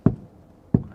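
A hand knocks twice on the floor panel of a car seized in a drug bust, giving two dull, low thuds that die away quickly. The floor sounds hollow, which is not normal for a car and reveals a hidden compartment that had been loaded with kilos of drugs.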